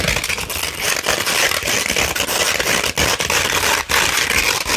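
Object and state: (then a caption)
Coarse sandpaper. Long red nails scratch across a sheet of coarse 60-grit sandpaper that has been rolled and then flattened. The result is a steady, dense, gritty rasp with a bright, hissy top end, broken only by a few brief pauses between strokes.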